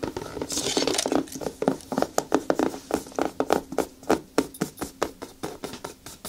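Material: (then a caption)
Rubber. Long nails and fingertips rub and scratch the smooth toe of a single black natural rubber boot, hollow and empty, held lying on its side. A quick run of short, dry scratching taps is heard, with a steady midrange tone and faint bright hiss, with each stroke dying away almost instantly.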